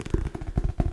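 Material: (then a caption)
Cardboard and paper. Fingers tap on the cover of a hardcover book as a relaxing sound. The taps are soft, dull, and low-pitched, each one dying away almost instantly, with almost no bright or high sound.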